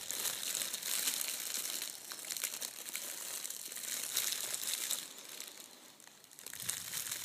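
A wrinkled sheet of red metallic foil gift wrap, spread flat on a table, is rubbed and pressed with flat hands and fingertips. It produces a dense, continuous, bright crinkling and crackling with almost no low end. The sound eases into a quieter stretch near the end before building back up.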